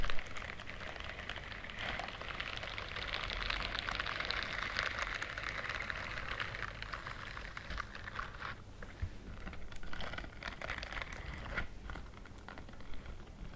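Fingers and long nails rub and scratch the bristle edges of a pink-white silicone dishwashing glove. The result is a steady, dense, scratchy rustle, brightest in the middle of the clip, with quick crackly flicks over a low background hum.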